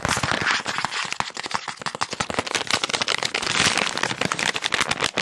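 A hand-sized, partly full, green and white soft plastic resealable wet wipes pack is crinkled, squeezed and tapped with fingertips and nails in quick, aggressive bursts. The result is a dense, bright stream of sharp plastic crackles and clicks with almost no low end, each snap dying away at once.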